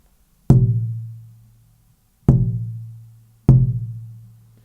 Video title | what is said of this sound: ERVIN SOMOGYI 01 - GUITAR MAKER - The Air Pump - Bracing - Tap Tone | it doesn't have that ringing sustaining activity